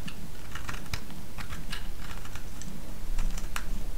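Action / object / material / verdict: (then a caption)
scrape / bar of soap cut with a blade / soap / none. A small, solid pink bar of soap held in the fingers is shaved and cut with a utility-knife blade. Quick, crisp scraping ticks and bright cutting snaps come in irregular bursts over a steady low rumble, growing denser toward the end.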